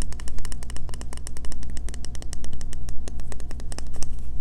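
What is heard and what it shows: Medium painted nails tap and scratch fast on a solid, palm-sized, pale green bar of unwrapped Castile soap, first while it rests on a table and then while it is held in hand. Rapid, dry, crisp clicks and scrapes run over a steady low hum. The scratching leaves soap shavings on the table.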